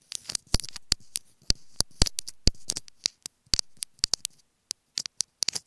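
Long fingernails tap and scratch a small, hollow, white plastic earphone inline remote microphone held between the fingers. About two dozen sharp, dry clicks come in uneven bursts, each bright and full-range, with soft scratchy rustling between them. The clicks stop almost at once with no ring.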